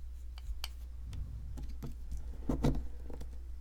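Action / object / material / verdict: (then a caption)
scrape / plaster block scraped with a metal pick / plaster / none. A metal pick with a wooden handle scratches and chips into the surface of a solid white, ridged plaster excavation block held in one hand, exposing an embedded item. Soft, dry scraping ticks and short crumbly chips sound over a steady low hum, with a louder burst of chipping past the halfway point.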